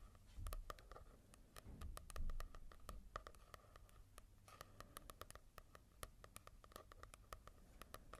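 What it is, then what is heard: Fingertip tapping on a matte-covered manga book. Fingertips tap and scratch across a manga volume with a matte cover in quick, irregular bursts. Soft, dry clicks ring out sharply over a quiet, low, muffled thud and a faint papery scratch, with a few louder knocks near the start.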